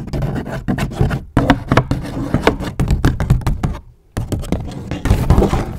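A medium-size, hollow and apparently empty grey paper gift bag with white polka dots is held up close to the mic and scratched and crinkled with long acrylic nails and fingertips. The result is a dense run of quick, dry scratches and papery crackles with heavy, muffled low thumps. The rustling breaks off briefly near the start and again for a moment of silence before resuming.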